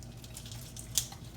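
A piece of freshly fried chicken gives a sharp, bright crackle from its crust against a faint low hum, showing how crispy the crust is.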